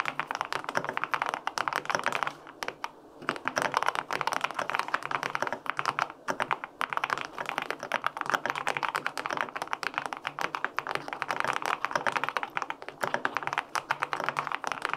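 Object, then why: Aluminum mechanical keyboard with plastic keycaps. Fingertips type steadily on the plastic keycaps of a white-pink full-aluminum 65% mechanical keyboard with linear switches. The result is a dense stream of short, dry, clacky keystrokes centered in the mid range with very little low end, broken only by brief pauses around 2.5 and 6 seconds.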